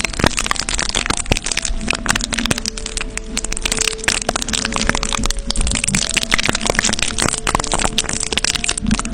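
Fingertips and short nails scratch and rub clear adhesive plastic tape wrapped around the grille of a silver condenser microphone, with hollow metal mesh underneath. The result is a dense, continuous stream of close crackling, crinkling and rustling, bright and sharp on top with a soft low rumble beneath and faint steady tones threading through.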